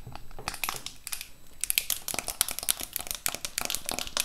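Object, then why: Lip gloss box with clear plastic lid. Long nails scratch and rub over the clear plastic lid of a large rectangular lip gloss set with a cardboard frame, full of gloss tubes and held close to the mic. The result is a dense run of bright, crinkly scrapes and taps, with a brief quieter stretch early on before the scratching picks up again.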